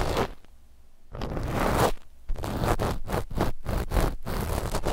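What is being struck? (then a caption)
Knit fabric sheet scratched with cotton swabs. A flat sheet of dark black knit fabric lies over the microphones and is scratched with the cotton tips of two cotton swabs at the mic positions. Broadband scratchy strokes start with a short burst, fall to a quiet lull, then return as a longer scrape. A run of rapid, closely spaced scratches follows, with a low rumble under the fabric noise.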